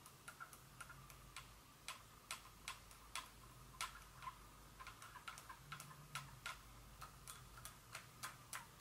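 Long fingernail tips tap a small Dior glass perfume bottle with a metallic top standing on a table, while an empty box lies untouched in the corner. About 27 quick, bright clicks with a short glassy ring near 1.3 kHz come in an uneven rhythm over a faint low hum.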